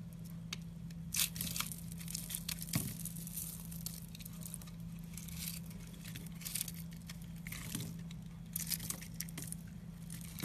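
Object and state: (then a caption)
Airy bar soap being scraped and cut. A utility knife scrapes and cuts a solid, porous, airy pink foamy bar soap held in a hand with red nails, breaking it into crumbly chunks. Bright, crisp scraping and crackling crumbles come in bursts over a steady low hum.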